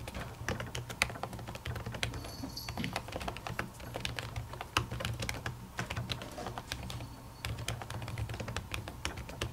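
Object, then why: Plastic laptop keyboard under a silicone cover. Long natural fingernails type on a silver laptop keyboard with plastic keys under a white silicone cover. A dense, steady run of short, crisp clicks with a bright edge sits over a constant low hum throughout.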